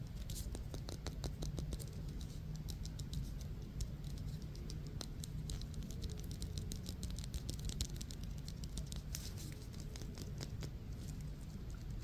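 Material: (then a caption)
Synthetic leather. A small, solid yellow synthetic Wilson softball with black stitching is held in the hands and tapped and scratched with the fingertips and short nails. Rapid, soft, dry taps and light scratches run in a steady, quiet patter over a low rumble for about twelve seconds, each tap dying away almost instantly.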